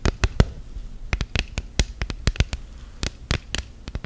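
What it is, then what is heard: Silicone phone case. Long gel nails tap and scratch an orange silicone phone case on a smartphone, laid flat and rigid. About nineteen quick, dry clicks come in an uneven run, each a sharp bright snap with a soft low thump that dies almost at once. Faint scratching fills the gaps between them.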